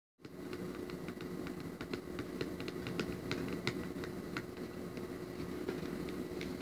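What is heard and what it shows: Fingertips with short nails tap and rub across the front of a small, flat printed cardboard box of 12 scented twistable crayons with a clear plastic window, lying on a patterned tablecloth. Quick, dry, clicky taps ring out brightly over a steady low, rustling bed with a faint constant hum.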